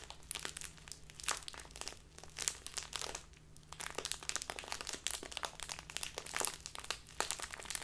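A small, crinkly plastic bag of tea stands on a table and is squeezed and crinkled with both hands and long nails. Dense, bright crackling and sharp crinkles come in quick bursts, with a brief quieter lull in the middle and a faint steady low hum underneath.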